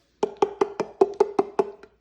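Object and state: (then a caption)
Hollow-sounding loose floor tile. A loose ceramic floor tile is knocked on nine times in a quick, even series. Each knock gives a short, hollow, wood-block-like tone around 390 Hz that dies away almost at once, with the last knock softer. The hollow sound shows the tile is loose and needs fixing.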